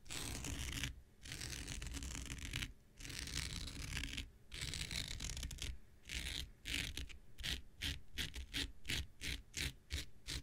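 An X-Acto knife blade scratches across a thin, blue, hand-sized non-woven synthetic fiber scouring pad held in the hand. It starts with long, rough, bright scraping strokes separated by brief pauses, then shifts to a quicker run of short, crisp scratches. A low rumble sits beneath the hiss throughout.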